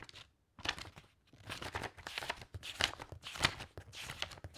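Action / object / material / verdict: flick / stack of loose paper sheets / paper / none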